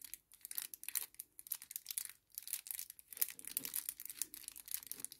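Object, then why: Small kraft paper sachet. A small kraft paper sachet on a table is lifted, folded and crumpled with the fingers. It makes a quiet, continuous run of dry, bright crinkles and crackles with brief pauses, almost no low end, and no ring after each rustle.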